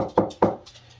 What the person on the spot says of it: you can hear the stud